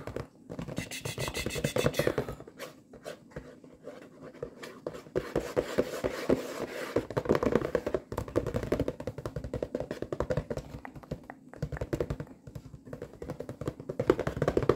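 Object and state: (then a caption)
Cardboard waffle box. Long nails tap and scratch the printed front of a flat, hollow cardboard box of frozen potato waffles. Rapid, dry clicks mix with papery scratching in a quick, uneven rhythm. The sound has a hollow midrange tone around 380 Hz, and each hit dies away almost instantly.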